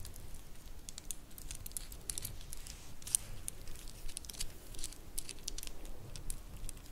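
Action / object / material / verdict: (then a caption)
shake / wooden bead bracelet / wood / none. A black wooden star-inlay bracelet is twisted and flexed between the fingers while long nails make its segments click against each other. Quiet, dry, irregular clicks and crinkly ticks come in quick succession, with bright tops over a soft low rumble.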